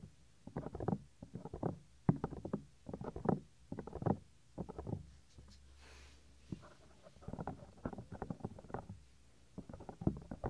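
Fingertips and nails rub and tap directly on the small, solid, white soft silicone ear of a 3Dio binaural microphone. Close, muffled scratching and tapping come in short rhythmic bursts, deep and dull with a soft low rumble beneath and little brightness. Brief quiet gaps separate the clusters.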